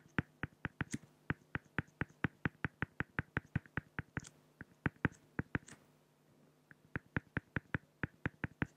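A pen tip draws dense hatching near the ear on a flat, solid acrylic glass (plexiglass) sheet, making about 37 quick, crisp ticks with sharp bright edges and almost no ring. The strokes come in a fast, even rhythm with a brief pause about two-thirds through, over a faint steady low hum.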